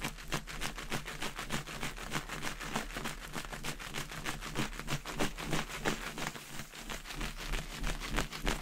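A clear inflated latex balloon with confetti inside, held by the knot, is shaken and swirled so the confetti rattles against the latex. The result is a fast, steady stream of dry, crisp ticks and patters that reach into the bright highs, over a low, hollow hum from the balloon.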